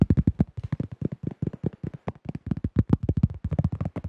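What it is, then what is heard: Plastic flying disc. A hollow, thin-walled cream plastic disc golf disc with a teal rim and a printed drawing, about 20 cm across, is held in both hands in front of the microphone and rapidly tapped and gripped with the fingertips. About 25 quick, dull, hollow thuds come in an uneven stream, low and boomy with a brief bright click on top. Each dies away almost at once with no ring.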